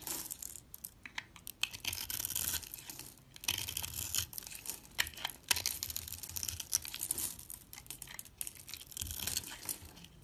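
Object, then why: Bar of soap. A metal utility blade scrapes cubes off the cubed blue top layer of a solid white bar of soap held in the hand. The result is dense, dry, crackly scraping and crumbling, mostly bright and high-pitched with little low end. It comes in rapid, short overlapping bursts with a couple of brief lulls.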